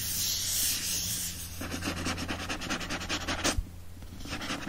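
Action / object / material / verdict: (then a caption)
scrape / paper-covered board book cover / paper-covered board / none. Fingertips and nails scratch and rub energetically across the back of a hardcover book with a printed, paper-covered board cover. A smooth, bright, hissy rub gives way to quick, rhythmic scratching strokes, with one sharper, louder scrape before the sound settles into softer rubbing. A steady low hum runs underneath throughout.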